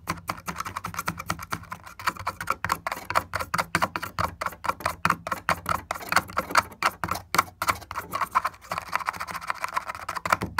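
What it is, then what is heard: Cracked wooden board. Fingertip and nail taps fall in a fast, steady stream on a broken, solid wooden board with a splintered crack and a marker line. Each tap is short, dry and clicky with a mid-pitched knock and almost no ring.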